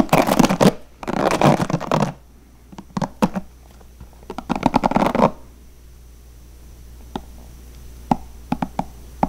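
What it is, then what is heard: Plastic paddle hairbrush. Fingertips flick the plastic bristles of a blue plastic paddle hairbrush, making dense, rapid bursts of scratchy, rattling clicks. Then they tap the hollow plastic back of the brush, giving a few short, sharp knocks spaced out against near silence.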